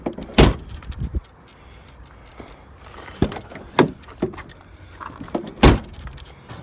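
The steel door of an old, worn-out American truck is shut several times for comparison, each close landing as a deep, low thud with a short rattle. Unlike the tinny door of another car, it sounds solid, not cheap.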